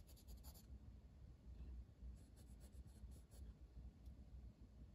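A green wooden colored pencil is drawn in long strokes across a flat paper page of a coloring book, its lead rubbing the paper. The result is a quiet, soft scratching texture, with brief, bright brushing bursts near the start and again in the middle.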